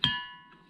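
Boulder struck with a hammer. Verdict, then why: Ringing. A boulder struck once with a hammer rings like a bell, giving a sharp metallic strike followed by a bright, steady tone with clear overtones. The tone decays over most of a second, unlike the dull rock struck before it.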